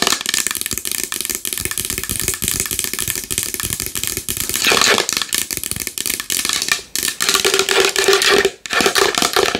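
A large wooden bowl is tapped fast and hard with long nails, producing a dense, continuous patter of sharp, bright clicks with almost no low end. Each tap dies away instantly, and the rapid rattle-like stream continues with only a couple of brief dips before picking up again.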